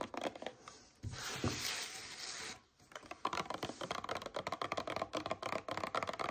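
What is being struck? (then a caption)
Paperboard drink carton. Long nails tap and scratch the sides of a hand-held, mid-size paperboard Vita Coco coconut water carton with a blue plastic cap. A few soft taps give way to a continuous, papery scratching rub for about a second and a half. After a brief pause comes a quick, fairly irregular run of crisp, dry taps with a bright edge.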